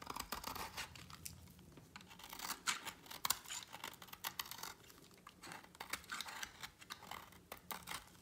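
A utility knife blade cuts strips from a shrinking slab of solid green dry bar soap over a pile of shavings. Dry, crisp scraping and shaving strokes come in quick, uneven bursts, bright and papery with almost no low end and no ring after each cut.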